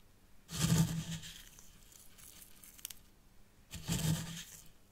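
Fingertips and nails scratch through fine white sand in the upper compartment of a small hexagonal tray, a miniature zen garden. Two bright, grainy, hissing scratching passes rise and fade, separated by a quieter stretch of faint rustling.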